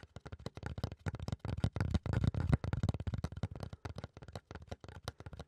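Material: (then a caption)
Fiberboard. Fingertips and nails scratch a flat, solid brown fiberboard or thick cardboard panel in quick, uneven strokes. The result is a dense run of short, dry scratching bursts, mostly low and thuddy with faint brighter edges, each stopping almost instantly.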